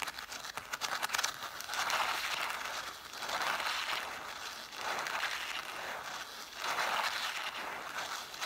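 Long nails tap and scratch the cloth spines of a solid stack of red cloth-covered vintage hardcover books, set spines forward. A quick flurry of light, crisp taps opens, then gives way to four swelling passes of dry, hissy scratching, bright in the upper mids with no low end.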